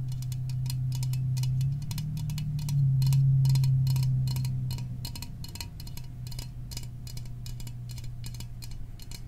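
A small aluminum soda can is tapped in a quick, steady rhythm, each tap a short bright metallic click over a constant low hum. The taps keep an even pace of about three to four per second throughout.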